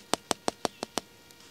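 Six sharp, evenly spaced taps on the empty section of a plastic water delivery pipe from a ram pump give bright, hollow clicks centred around 700 Hz. Each one dies away almost instantly, and two faint ticks follow. The pipe is empty.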